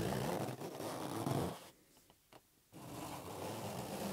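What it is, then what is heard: Latex rubber balloon being rubbed and tapped. A hollow, inflated green latex rubber balloon is held in one palm while the fingertips of the other hand rub and tap it. Steady, low, squeaky rubbing fills the first second and a half, then stops for about a second. Two soft taps sound during that pause before the rubbing starts again and continues to the end.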